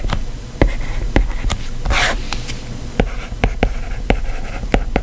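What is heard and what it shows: A plastic stylus tip writes lines of text on the solid glass screen of a white iPad, tapping and scratching against the glass. About a dozen short, sharp ticks stand out, with a brighter scratchy stroke near the middle, over a low, steady background rumble in an indoor space.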